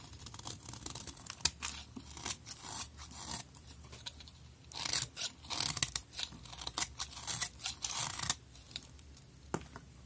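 A utility knife blade scrapes shavings off a thinned pink bar of soap held in the hand. Quiet, bright scraping and crisp cuts come in short bursts, with louder, denser shaving strokes in the middle of the clip.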